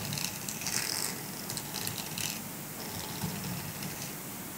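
A small, flat grey silicone dish scrubber with dense bristles, solid and flexible, is held in the hand while fingertips and nails scratch and rub across the bristles. The result is a steady, soft, bright scratchy rustle with brief louder swells, over a faint low hum.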